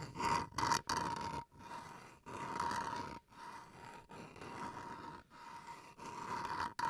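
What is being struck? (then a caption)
Bamboo wooden chopping board. Fingernails scratch the edge and face of a small solid bamboo wood cutting board held edge-on close to the mic. The result is a run of raspy, rough scraping strokes with a steady squeaky tone near 940 Hz, broken by brief silent gaps between strokes.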